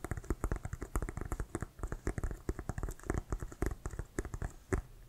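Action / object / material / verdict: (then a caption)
tap / inflated composite leather football / synthetic leather / none. Fingertips and nails of both hands tap and scratch the laces and pebbled surface of an inflated brown Wilson composite synthetic-leather American football. The result is a rapid, uneven patter of short, dull, bass-heavy taps that die away almost instantly, with faint dry scratching in between.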